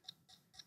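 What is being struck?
Small wooden box.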